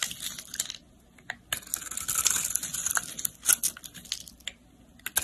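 A palm-sized solid pink soap bar held in the hand has its surface scraped and chipped by a utility-knife blade. Bright, crisp scraping and crackling are broken up by short sharp clicks as flakes come away, with a longer, denser scrape in the middle. The quiet gaps between strokes sit close to silence.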